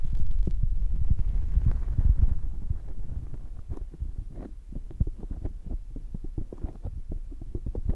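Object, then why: Foam microphone windscreen. Fingertips of both hands rub and squeeze a soft, porous black foam windscreen on a microphone, then the palms cup it at the end. The sound is a dense, muffled, low-pitched run of thumps and rustles, loudest in the first couple of seconds before settling into quieter, steady rubbing.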